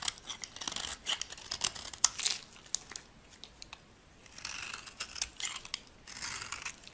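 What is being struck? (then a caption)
Bar soap scraped with a metal blade. A solid, dry white bar of soap held in the hand is scraped and carved with a metal blade into flakes. The cuts make crisp, bright scratching and crackling bursts in uneven clusters, with short quiet gaps and almost no low end.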